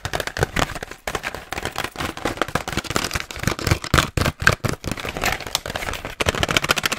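Fingernails tap and scratch very fast on a pink BIC disposable razor package, a hand-sized hollow clear plastic shell on a card with razors inside. The result is a dense, rapid stream of sharp, crackly plastic clicks and rasping scrapes with bright highs and a hollow low thump, each tap dying away almost instantly, broken by a few brief pauses.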